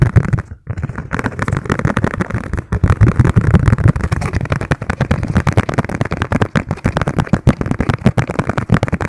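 A thin, hollow yellow plastic margarine tub lid, held in both hands, is tapped very fast with the fingertips. The taps form a dense, continuous patter of short, dull thuds, mostly low in tone with a brief ring and almost no brightness, after a short pause near the start.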